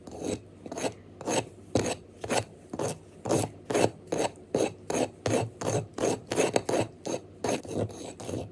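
Fingernails scratch quickly and aggressively down the surface of a tall, solid pink wax pillar candle that is held upright and already marked with visible scratches. The result is a fast series of dry, raspy scraping strokes, each a short burst with a bright, hissy edge over a mid-range rub, separated by brief quiet gaps.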